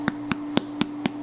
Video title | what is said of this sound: How to make Arepas | looking for that hollow drum sound, and that's the indicator that these are done